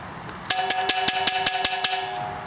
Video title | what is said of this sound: Selecting Quality Pottery | you hear the higher pitch that's a harder pot